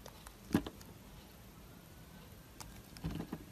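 A solid oval translucent green glycerin soap bar with an embossed logo, held in the hand, is cut with a yellow utility knife blade. Soft, quiet pattering cuts and clicks are heard, with a sharper slice early on and a small cluster of crisp cuts near the end. The sounds are short and dry against a faint low background.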